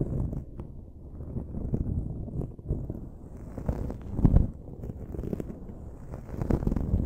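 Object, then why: Foam microphone windscreen. Long nails and fingertips scratch and rub the dark foam windscreen on a silver microphone. The result is a steady stream of muffled, low, rumbling scratches and soft thuds, with a few louder rubs standing out and very little bright content.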